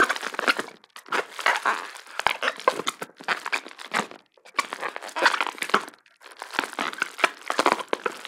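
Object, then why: Plastic bubble wrap sheet. A medium sheet of clear plastic bubble wrap with air-filled bubbles is held in both hands and squeezed, crumpled and popped with the fingers. Bursts of dense, bright crinkling and crackling come in waves with short pauses, punctuated by a few sharp, clicky pops.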